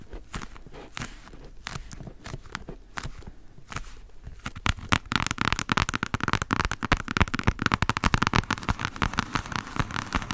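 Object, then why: Hardcover book spine. Long nails rapidly tap and scratch along the solid spine of a thick hardcover Jane Austen complete novels book. Quick, dry, irregular clicks start softly with scratchy rustling between them, then grow louder and denser after about five seconds into a continuous crackling patter.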